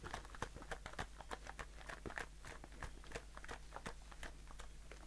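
A blue aluminium shaving foam aerosol can with a bare metal bottom is held in the hand and tapped and scratched with short fingernails. The result is a quiet, steady run of quick, dry ticks and brief scratchy rasps that stop almost at once, over a faint low hum.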